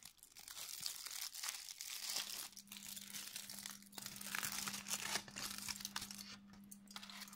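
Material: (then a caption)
Aluminium foil. A hand-sized loose sheet of thin, crumpled aluminium kitchen foil, not hollow, is crumpled and unfolded with the fingertips. It gives a dense, bright, irregular crinkling with sharp crackles and quick rustling bursts that rise and fall. From about two seconds in, a steady low hum near 200 Hz runs underneath.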